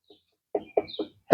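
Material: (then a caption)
Wood. Knocking on a solid tree trunk produces three quick, dull wooden knocks with low thuds and almost no ring, followed by a louder, broader burst at the end. The wood sounds solid.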